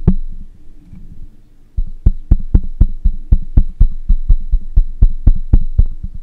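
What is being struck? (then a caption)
Metal mesh microphone grille. Fingertips and nails of one hand tap on the hollow metal mesh grille of a black microphone. A single deep thump and a quiet pause give way to a steady run of quick, booming taps, about four per second. Each tap is a short, heavy low knock with a faint bright tick on top.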